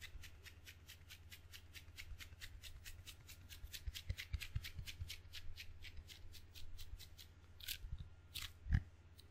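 A table tennis paddle with red rubber facing on a solid wooden blade is tapped and peeled by fingertips and palms on the sticky rubber, and is also held edge-on between the palms. A steady run of quick, light taps with bright, sticky release clicks rides over a low hum, ending in a few louder thumps.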